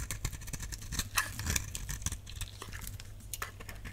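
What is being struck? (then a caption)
Bar of soap scraped with a knife blade. A utility knife blade scrapes curls off the surface of a solid purple dry soap bar. Many short, dry, bright scraping strokes crackle over a steady low hum.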